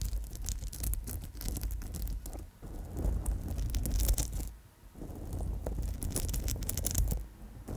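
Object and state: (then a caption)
Amethyst bead bracelet. Long nails scratch and tap over the stones of an amethyst chip and bead bracelet strung on a gold wire core. A dense, continuous scratching and rustling is heard, full of quick bright clicks over a steady low rumble, briefly dipping quieter before picking back up.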